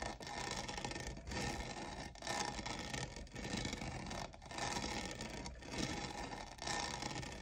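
Fingernails scratch and rub the diamond-textured sides of a hollow lavender plastic cold cup. The result is a steady, dense, bright scraping rasp in repeated strokes, broken by brief pauses about once a second.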